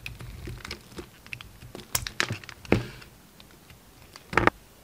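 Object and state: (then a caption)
Bar soap being shaved with a knife. A utility knife held in the fingers shaves thin pieces off a solid pink bar of soap that has already been narrowed by carving. Soft, crisp scraping and ticking cuts patter along, broken by a few louder, sharper slices with a bright edge, the strongest near the end.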